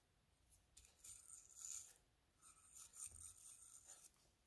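A hand-sized hollow conch-type seashell with a brown and white spiral and a smooth white inner lip is held in one hand while the other scrubs its surface with the bristles of a plastic toothbrush. Quiet, bright, raspy scratching comes in several bursts of brushing strokes, with short pauses between them.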